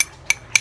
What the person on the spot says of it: ada juga ketukan gelas dan sendok seperti ini